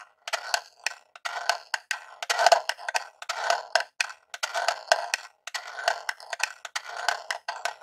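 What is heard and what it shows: A long jeweled nail scratches and taps along the top edge and logo area of a small grey hollow Super Nintendo Classic plastic console. Quick, dry clicks and short scraping strokes follow each other in an irregular stream, with a hollow plastic tone centered around 700 Hz. Each tap dies away almost instantly, with no low end.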